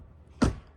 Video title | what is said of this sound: 2024 BMW 530i xDrive M-Sport FULL Review /// The Perfect Balance of Luxury & Performance? | wow that sounds solid